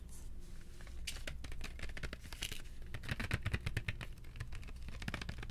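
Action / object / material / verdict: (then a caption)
tap / cardboard box of colored pencils / cardboard / none. A box of colored pencils is tapped as an ASMR trigger, giving a quick run of short, dry taps and light scratchy clicks. A steady low hum runs underneath throughout.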